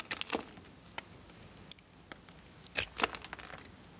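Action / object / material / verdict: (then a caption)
scrape / bar of soap scraped with a knife blade / soap / none. A multitool knife blade scrapes and carves a small solid blue bar of soap held in one hand, with a pile of soap shavings on a wooden board below. Dry, bright scraping and crisp crackling come in short, irregular bursts with quiet gaps between them, each one ending almost instantly.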